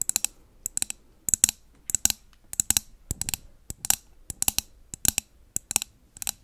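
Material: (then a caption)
Glass. A medium glass jar candle with a blue label and lid, filled with solid wax and held in one hand, is tapped rapidly with long nails. Quick bursts of sharp, bright clicks follow one another with almost no ring and very little low end.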